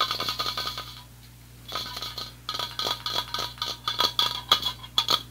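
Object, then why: Metal aerosol spray can with plastic cap. Fingertips and nails tap rapidly on a handheld, closed aerosol spray paint can about 20 cm long, with a yellow plastic cap and a white-and-yellow printed hollow metal body. The taps start on the cap while the can is held upright, then move along the body as it is held sideways, with some still landing on the plastic cap. The result is a quick, uneven run of bright, clicky taps with a brief metallic ring, broken by a short quiet pause about a second in.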